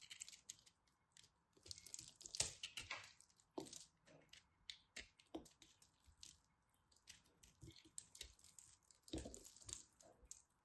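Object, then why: Pressed glitter soap chunk. A solid white and purple glittery pressed soap chunk is carved with a craft knife while held in the hand. Quiet, crisp, bright crackles and scrapes come in a quick, uneven string of short cuts, each dying away almost at once. Occasional heavier crunches stand out among the lighter flicks.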